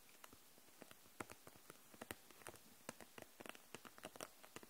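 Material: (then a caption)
Plastic. Long nails tap the caps of dual-tip markers packed in a clear plastic case held upright, and the case itself. About eighteen quick, light, bright clicks fall at an irregular pace, each dying away at once over a soft steady hiss.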